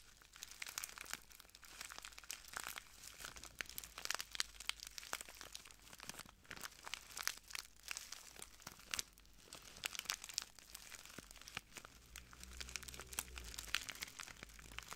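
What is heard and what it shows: A small clear plastic bag full of translucent granules is pressed and crinkled by fingertips, giving dense, bright, crisp crackles and rapid clicks with no ringing. The sound stays quiet and steady throughout, with a faint low hum rising briefly near the end.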